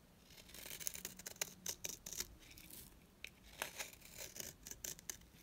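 A utility blade scrapes thin strands off the face of a small, dry, solid pink bar of soap. The result is a series of quiet, bright, crisp scraping and shaving strokes that come in uneven bursts.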